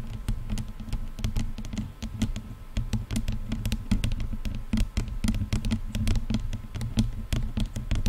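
Long painted nails of both hands tap rapidly on the hollow, lightweight padded leatherette and plastic headband of over-ear headphones draped over a microphone. A fast, uneven patter of short, crisp clicks rings briefly, each with a bright tick, over a steady low hum.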